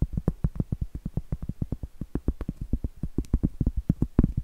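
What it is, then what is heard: Cork trivet. Long acrylic nails rapidly tap and scratch the flat face of a round solid cork trivet. There are 34 quick, dull knocks, heavy in the low end with almost no bright content, and each dies away almost at once.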